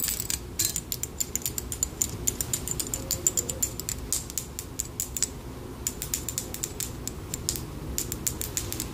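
A handheld metal wire scalp massager, with thin metal wire prongs on an open, hollow metal handle, is held close to the microphone while long pink fingernails scratch and pluck along its wires. Rapid bright metallic clicks and springy creaks rattle over a soft, steady low rustle.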